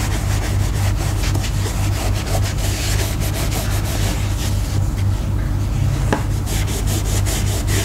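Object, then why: Grained leather sling bag. Fingers rub a round foam applicator pad in circles over the grained surface of a black leather sling bag lying flat, its front panel bearing a small leather label, while conditioning the leather. The result is a continuous, fairly rhythmic swishing rub at about three to four strokes per second over a heavy low-frequency rumble, with faint bright scuffs on each pass.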